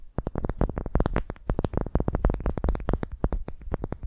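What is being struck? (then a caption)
Wooden ball. A solid pale wooden ball resting on a microphone is scratched and tapped with the long nails of both hands. A rapid, dense run of short wooden clicks and taps follows, each carrying a deep, boomy low thud from the close contact with the microphone. The taps die away almost instantly, with no ring.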